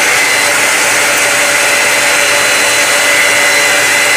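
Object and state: Nothing is struck.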